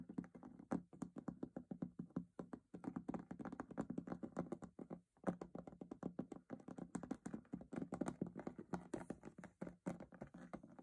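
Fingers tap and knock rapidly on a metal box in a dense, uneven stream of short, dull hits. The knocks have a low-mid tone that dies away almost instantly, with a brief pause near the middle before the tapping resumes.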